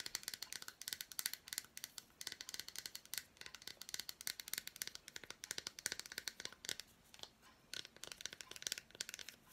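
Long black nails scratch and tap across the front and back of an unwrapped, solid milk chocolate bar with fruit pieces. The result is a dense run of quick, dry, bright clicks and crisp scratching ticks with almost no low end. Each hit stops instantly with no ring, pausing briefly between bursts.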